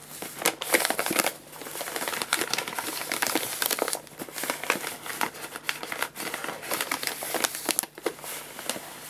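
An empty, crumpled paper guinea pig food bag is held upright and crinkled and squeezed by hand. It makes a steady stream of dry, bright crackling and crinkling with sharp snaps throughout and almost no low end. Brief quieter pauses break up the crinkling.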